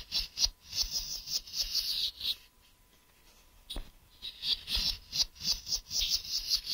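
Fingernails tap and scratch the flat surface of a hollow, grey translucent plastic case held in one hand, near its ridged edge. Quick, dry, bright clicks and scratchy rubbing come in an uneven rhythm. The sounds stop for about a second in the middle, then pick up again with a sharp tap.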